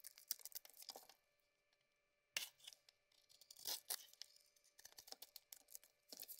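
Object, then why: Bar of soap shaved with a metal blade. A cream soap bar with a rose-gold coating, held in the hand, is shaved with a metal blade, peeling off chunks and curls. Bright, crisp scraping and crackling bursts come in quick runs, with a near-silent pause partway through before the shaving picks up again.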